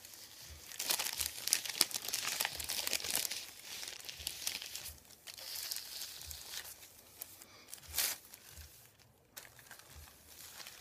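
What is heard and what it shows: A flat hand and fingertips slide and press on a thin white printed paper sheet lying flat on a table, rubbing and crinkling it. The result is a soft, bright, papery rustle of quick irregular crackles, densest and loudest early on with another sharp burst near the eighth second before it thins out.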